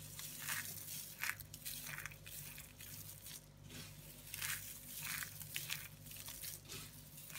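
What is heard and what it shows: Hands with long painted nails scoop, squeeze, crush and rub a pile of small, dry, loose multicoloured soap shavings and flakes between the fingers and palms on a woven placemat. Irregular bursts of bright, dry crunching and crinkling rise and fall over a faint steady low hum.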